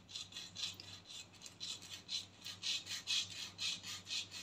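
Long painted nails scratch the hollow, textured black plastic cap of a body spray can, tilted forward, in quick back-and-forth strokes about twice per second. Each stroke gives a soft, bright, rasping scrape that swells and fades, with almost no low end.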